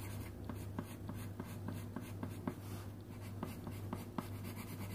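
A red wooden colouring pencil, held in one hand, scratches and rubs across a thin printed paper colouring sheet lying flat on a wooden table, while the other hand holds three yellow pencils still. Quick, soft scratchy strokes repeat over a steady low hum.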